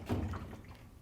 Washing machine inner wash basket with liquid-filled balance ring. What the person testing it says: You should hear the liquid sloshing around inside of it.